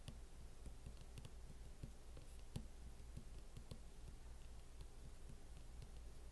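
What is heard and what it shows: Fingertips and nails tap slowly on the lid of a closed MacBook fitted with a teal matte plastic hard-shell case. The taps are dull, soft clicks with a short ring, set in an irregular rhythm over a steady low hum.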